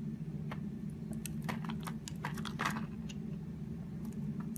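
A solid purple Palmolive soap bar, held in the hand, has its surface shaved into curls with a utility knife blade. Short, crisp, bright scraping ticks come in quick irregular bursts over a steady low hum.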